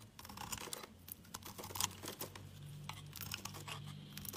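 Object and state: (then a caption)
Bar of soap being carved. A palm-sized solid orange bar of soap is held in the hand while a metal utility knife blade shaves off curls of it. The scraping and carving come through as a rapid series of dry, bright crackling strokes with short, sharp transients. A faint low hum sits steadily underneath.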